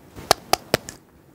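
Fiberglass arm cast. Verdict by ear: Hard.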